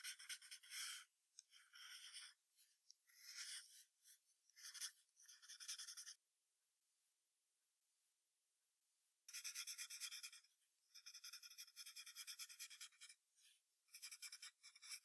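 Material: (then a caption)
Paper. A wooden graphite pencil shades a fox's body on white paper taped to a hardboard clipboard, making bright, dry scratching in quick bursts of back-and-forth strokes. The strokes stop for about three seconds of near silence, then resume in longer, denser runs of high rasping.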